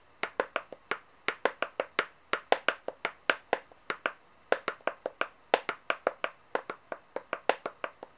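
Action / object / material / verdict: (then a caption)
tap / metal coins tapped with fingernails / metal / none. Long painted nails tap rapidly on the faces of solid metal coins laid out on a white table. About 36 sharp, quick clicks come in uneven bursts, each bright and thin with a midrange tone and almost no low end. Every tap dies away almost at once.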